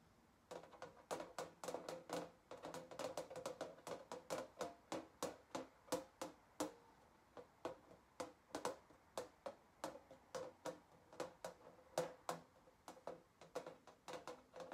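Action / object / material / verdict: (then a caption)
tap / galvanized sheet-metal sign / galvanized steel / none. Long fingernails tap and scratch across a flat galvanized sheet-metal sign with printed text, held on a table. About fifty quick, sharp metallic taps ring briefly around 500 Hz, bursting in fast irregular flurries with light scraping between them.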